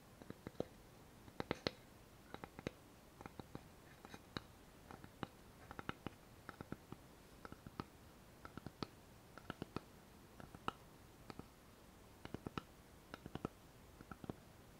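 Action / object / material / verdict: tap / thin light-wood board / wood / none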